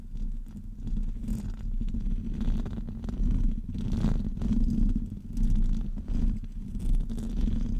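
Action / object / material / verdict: scrape / metal wire-mesh microphone grille / metal mesh / none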